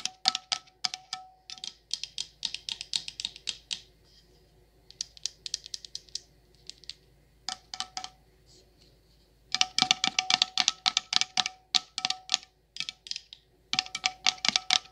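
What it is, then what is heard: Candle jar with metal lid. Long nails tap and scratch the metal lid and side of a coconut sandalwood candle jar in quick, irregular bursts. The clicks are bright and crisp with almost no ring, separated by short pauses and a few softer scratching passages.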